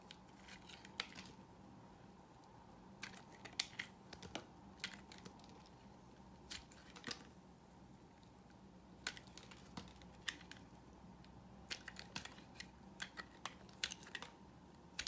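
A solid, oval, cream-colored dry soap bar, hand-sized and held in the palm, is carved with a utility knife blade. Repeated scraping strokes peel off brittle curls, making short, crisp, bright crackling scrapes in clusters over a quiet, steady low hum.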